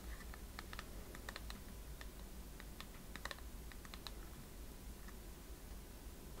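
Long painted fingernails tap and scratch a transparent plastic phone case, filled with liquid and blue glitter and with a metallic-look rim, held close. Quick, sharp, bright clicks and light scratching come in uneven bursts over a steady low hum.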